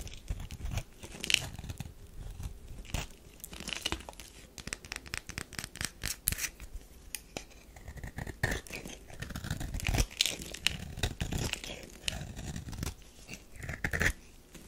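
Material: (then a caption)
Soap. A metal knife scrapes shavings off a solid tan bar of soap that has already been partly carved. Many short, dry scraping and cutting strokes come in quick, uneven bursts, with a bright, papery crackle over a soft low thud from the knife against the bar.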